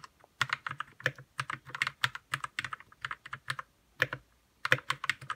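A white 60% RK61 mechanical keyboard with plastic keycaps and lubed red switches is typed on with fingertips. Fast bursts of short, crisp clacks come in quick runs with brief pauses, each keystroke a bright tap with a soft low thock underneath that dies away almost at once.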